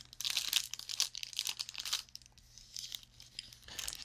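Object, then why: Cellophane-wrapped baked bar. Fingertips of both hands squeeze and rub a small, flat, full cellophane bag holding a dark baked dessert, a Sconehenge bar with a round paper label. The wrapper gives off bright, crackling crinkles in dense bursts for the first two seconds, then quieter scattered crackles and a final flurry near the end, with almost no low end.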